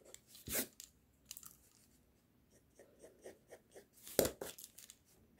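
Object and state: Pencil scratching on drawing paper.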